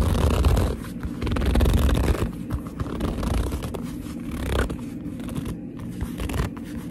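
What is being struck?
Leather purse.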